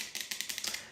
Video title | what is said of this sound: Retour de courses #shorts | ça sonne le creux quand même